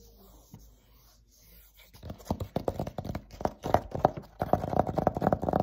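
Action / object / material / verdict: tap / thin dry-erase board panel / laminated board / none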